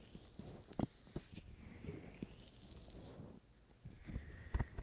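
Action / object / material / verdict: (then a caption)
tap / silicone ear shells of a binaural microphone / silicone / none. Fingertips of both hands scratch and tap the outer ear shells of a binaural microphone with white silicone ears. The sound is close, soft rustling and scratching with short, dull, low thumps that stop almost at once, and the taps come in an irregular pattern with a quieter stretch in the middle.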